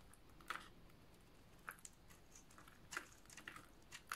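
A snap-off utility knife blade shaves and scrapes a solid, hand-sized green oval bar of dry soap, peeling off curled flakes. Short, crisp crunching scrapes with a bright crackle stand out in bursts against a low, steady background hiss. Each scrape cuts off quickly with almost no ring.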